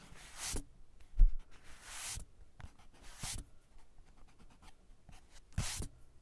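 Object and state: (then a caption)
Paper sketchbook page being erased. A small white eraser is rubbed back and forth across a pencil drawing near the bottom of a page in a spiral-bound paper sketchbook lying flat on a cork desk. Several soft, bright, scratchy swipes rise and fade between quiet pauses, with faint low bumps from the paper and desk underneath.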